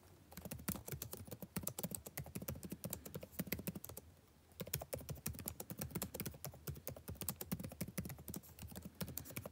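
Fingertips type continuously on the blue-backlit plastic keycaps of a dark laptop keyboard, producing rapid, short, dry clicks with a dull low-heavy body. The typing pauses briefly partway through, then resumes at the same brisk pace.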